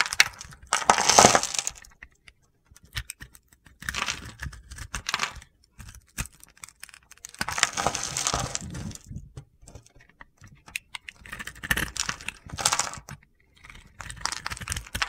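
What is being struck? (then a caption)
Bar of soap scraped with a metal blade. A solid rectangular bar of soap, cream with a purple glittery layer, is held in one hand while its surface is shaved and scraped with a metal box-cutter blade. Bursts of bright, crunchy, gritty scraping come and go with short pauses between them as crumbly soap shavings fall away.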